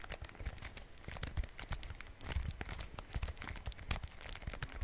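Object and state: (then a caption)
Plastic calculator. A small, solid, dark plastic handheld calculator with a keypad and screen is held close to the mic and tapped and scratched with fingertips and fingernails on its keys and casing. The result is a quiet, steady stream of rapid dry clicks, ticks and crinkly scratches over soft low thumps, each sound stopping short with no ring.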